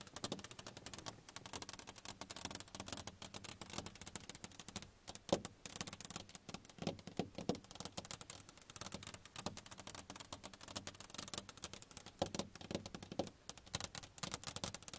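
A flat sheet of glass in a car's side window is tapped with the long nails of both hands. The result is a rapid, continuous patter of crisp, dry clicks with bright highs and almost no ring, sometimes in fast flurries and sometimes in slightly louder single taps.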